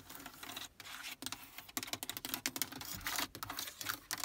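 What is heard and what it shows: Long acrylic nails and fingertips tap, press and scratch the hard plastic faceplate and small plastic push buttons (radio presets, temperature, A/C) of the car stereo and climate control panel on a Toyota Prius dashboard center console. The result is a fast, uneven run of bright, dry clicks and scratchy rubbing with almost no low end, each tap dying away instantly.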